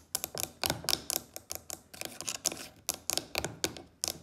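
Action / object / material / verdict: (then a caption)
tap / carved wooden box with brass inlay / wood / none. Long acrylic fake nails tap and click on a medium carved wooden box or chest lid with a brass elephant inlay and a solid-looking lid. About nineteen quick, dry, bright clicks come in uneven bursts, with almost no low end and each one dying away almost at once.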